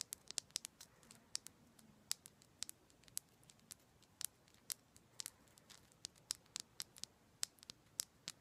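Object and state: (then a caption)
Rose quartz chunk tapped with nails. A solid raw rose quartz crystal chunk, held in the hands, is tapped and scratched with long black pointed nails. Quiet, sharp, bright clicks and ticks come in an uneven stream, each very short with almost no ring and no low end.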